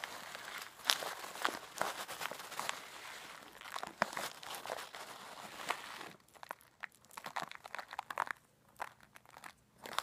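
A clear plastic zip-lock bag of coarse bath salt is held up and shaken while long black nails press on the bag. Dense, bright crinkling and gritty crunching fill the first six seconds, then thin out into sparser, quieter crackles and sharp little clicks.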